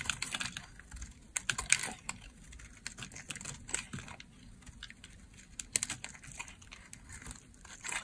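An oval green bar of dry solid soap is shaved with a utility blade, making a steady run of crisp, bright scraping and cutting sounds. Each short, dry crunch stops almost at once, with quieter stretches between bursts.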